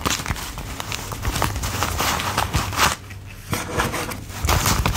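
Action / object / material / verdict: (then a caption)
flick / wad of worn paper banknotes / paper / none. A thick wad of worn US $1 paper bills is held in both hands while a thumb peels and flicks the bills one at a time, counting them. Dry, papery flicks and soft crinkling rubs run steadily, with sharper bright snaps standing out and a brief quieter lull near the middle before the counting picks back up.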